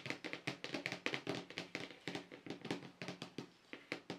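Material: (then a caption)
Plastic. Both hands tap quickly across a large, flat white plastic paint palette tray with dried paint on it, using fingertips and short nails. About two dozen light, clicky, hollow plastic taps come in an uneven rhythm; each is bright with a very short ring, over a faint steady low hum.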